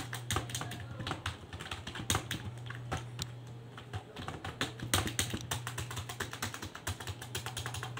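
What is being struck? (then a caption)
Plastic computer keyboard. One hand types with its fingertips on a full-size black and grey plastic desktop keyboard, its keys set over a hollow plastic case resting on a desk, with the mouse in front left untouched. A rapid, uneven stream of sharp, bright plastic key clicks and taps plays over a steady low hum near 94 Hz.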